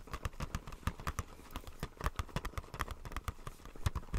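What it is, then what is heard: Plastic blister pack tapped, hollow. A small, hollow retail blister pack, a clear plastic shell on white printed card, is held upright in the hands and tapped with fingertips and nails. A quick, uneven run of soft, dull taps follows, each a short low thump with a light hollow plastic click that dies away almost at once.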